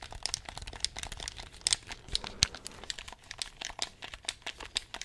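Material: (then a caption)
Plastic. Fingertips press and click the buttons of a handheld black plastic gamepad in a rapid, uneven run of sharp, dry clicks. The clicks are bright and crinkly with almost no ring, over a faint low rumble.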